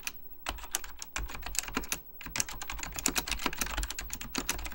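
Fingertips type rapidly on an Apple Extended Keyboard II, a plastic mechanical computer keyboard with beige plastic keycaps and a hollow plastic case. A dense run of short, sharp key taps with bright clicks and a low hollow thump pauses briefly near the two-second mark, then resumes even faster.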